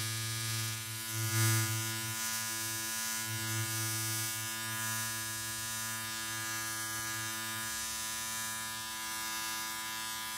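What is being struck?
Nothing is struck.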